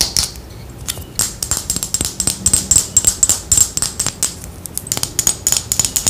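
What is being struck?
Glass perfume bottle.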